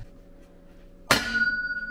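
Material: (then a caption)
Metal. A freshly pressed bearing in a Ducati Hypermotard's metal engine casing is tapped to check its seating, giving a sharp metallic strike. A clear, sustained ring holds steady near 1.4 kHz. The bearing rings nicely, showing it is properly seated.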